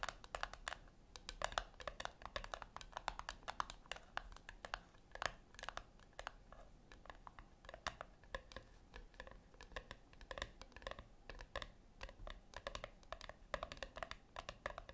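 Long acrylic nails tap rapidly on the flat top of a small, round, brushed-silver metal tin resting on a white cloth. The result is a quiet, steady stream of short, crisp clicks with a slight metallic ping centered around 700 Hz and a bright edge. Each tap dies away almost instantly over a soft background hiss.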